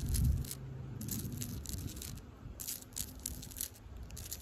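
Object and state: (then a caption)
Tree bark. Long pink acrylic nails scratch the furrowed bark of a solid tree trunk. Repeated dry, rattling scrapes come in short bursts with bright crackle on top of a low rumble. The strokes run together rather than forming clearly separate hits.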